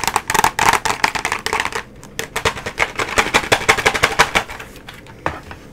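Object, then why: Flat cardboard box. Long nails tap fast across the surface of a flat cardboard nail tips box held horizontally. The dry, bright clicking comes in rapid, uneven bursts, briefly thins out around the two-second mark, then picks up again before trailing off into a few scattered taps near the end.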